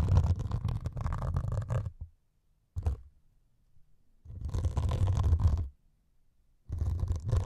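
A white melamine foam sponge with a grey scouring top is scratched with two metal needles. The result is four bursts of dense, rough scratching with a heavy low rumble, separated by short silences.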